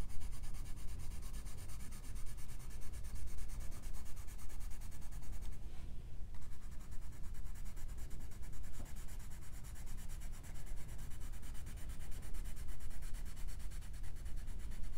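A pink colored pencil rubs back and forth across the thin paper page of an open coloring book lying flat on a fluffy rug, shading a rug in the drawing. The result is a steady, dense, scratchy rubbing with a low rumble underneath, briefly thinning out around the six-second mark before continuing evenly to the end.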